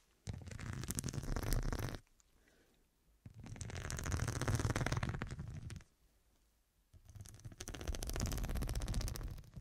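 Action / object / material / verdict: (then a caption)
scrape / fabric cushion covered in faceted glass studs / glass / none. Long dark nails scratch across the square faceted glass studs covering a fabric cushion, seen from the side. Three separate bursts of rapid, dense scratching with a low rumbling body and a bright gritty edge are separated by short quiet pauses.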